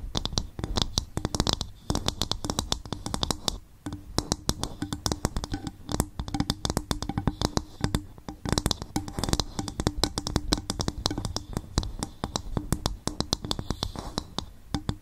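Long fingernails tap rapidly on an upturned, hollow, empty coconut shell bowl. The result is a steady stream of short, dry clicking taps with a faint hollow tone around 300 Hz and bright clicky edges, each dying away almost at once.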